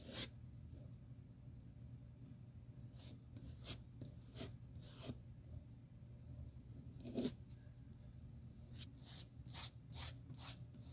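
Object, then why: Leather sandal sole brushed with a bristle brush. A bristle glue brush on a metal handle is swept repeatedly across the solid tan leather outsole of a black strappy sandal held in a gloved hand. Each stroke makes a short, dry, bright swish of scratchy bristle noise that fades almost instantly, over a quiet, steady low hum.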